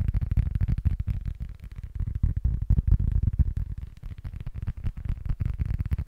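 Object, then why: Small cork board. Fingertips and short nails rapidly tap and scratch the surface and edge of a small, flat, solid rectangular cork board held close to the mic. The result is a dense stream of soft, dull, low thumps around 94 Hz with almost no brightness. Each tap dies away instantly, with quieter scratchy stretches between busier bursts.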